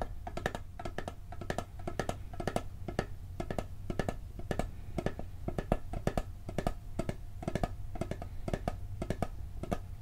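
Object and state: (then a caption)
Metal cookie tin tapped with fingertips. The lid of a hollow, round blue steel cookie tin is tapped quickly with fingertips and nails. This produces a steady stream of short, dry, clicky taps with a faint metallic tone around 645 Hz over a low rumble. Each tap dies away almost instantly.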